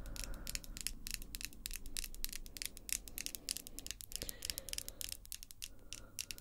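Long acrylic false nails, heard close up, tap and scratch their tips against the nails of the other hand. The result is a dense, quick run of short, bright clicks with little ring, over a faint low rumble.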